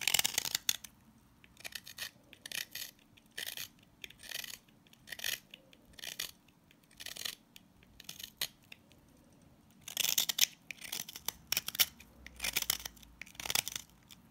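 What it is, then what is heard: Salt scrub soap bar. A utility blade scrapes and cuts across the grainy surface of a pink solid coarse-salt scrub soap bar. Short bursts of crisp, gritty crunching and rasping sit almost entirely in the bright high range, with barely any low end. Quiet pauses separate the strokes, and the later passes are denser and louder.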